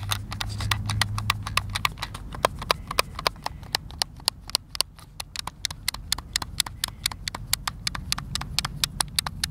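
A hand-sized, hollow white plastic Xbox controller is held in both hands over a wooden picnic table while fingertips and thumbs press and tap its buttons. Dozens of short, bright plastic clicks follow each other rapidly with almost no ring, over a quiet low rumble that is strongest in the first two seconds.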